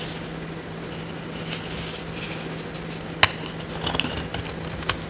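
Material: Soap.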